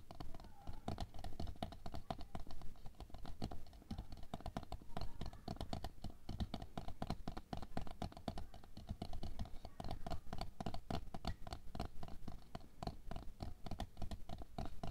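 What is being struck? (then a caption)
Plastic canister filled with water beads. Long nails tap rapidly on the plastic side, near the label, of a tall clear plastic canister full of red water beads lying on fur. The result is a steady stream of quick, dry clicking taps with a dull, low-heavy body and almost no ring after each tap.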